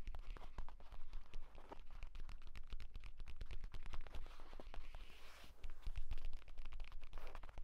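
A purple leather folio tablet case lies flat while fingernails scratch quickly and fingertips tap rapidly along its cover and spine. The result is a dense run of sharp, dry clicks and raspy scratches over a steady low hum.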